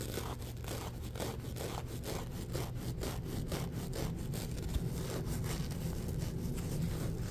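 A palm-sized scrubber sponge with a rough gold glitter surface is rubbed and scratched with fingertips and short nails. Quick, uneven scratchy strokes repeat at about two per second. They ride over a steady low rumble that dominates the sound.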